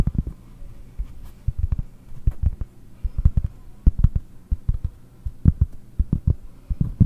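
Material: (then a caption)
Cork. Long painted nails and fingertips tap the surface of a large, round, solid cork trivet held up close. The result is a quick, irregular run of soft, dull, low thuds that die away almost instantly, with very little brightness, over a faint steady low hum.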